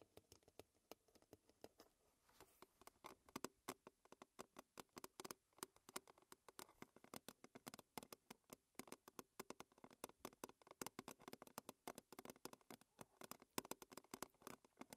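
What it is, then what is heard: Thin metal tin lid tapped with fingernails. Long red fingernails of both hands tap and scratch a round, silver-blue metal tea tin lid, which is hollow and thin and held upright. Quick, dense, uneven clicks with a light metallic tone sit over a soft scratching texture. The sound stays quiet and dry, with almost no low end and hardly any ring after each tap.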